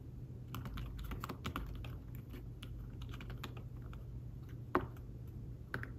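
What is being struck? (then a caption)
Fabric-covered tablet keyboard. Fingertips type on a thin folio keyboard with fabric-covered keys attached to a tablet, producing a run of soft, muted taps over a steady low hum. Two sharper, louder taps stand out near the end.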